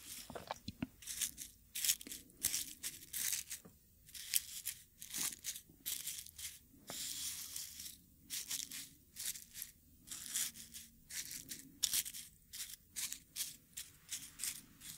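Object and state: Dried rose petals crushed in a wooden mortar.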